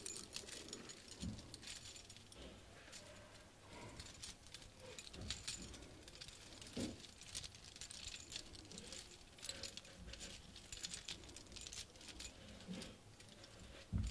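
Long painted nails tap and scratch the metal mesh face of a round handheld compact mirror decorated with small gems, beads and metal flowers. The result is a steady, quiet stream of bright, jangly clicks and scrapes with low thumps, running continuously throughout.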